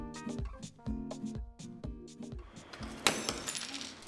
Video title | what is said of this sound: 조직을 검사하지 않고 소변만으로 암 발병의 유무를 진단할 수 있다 | 일반 유리에 경우 산산조각이 납니다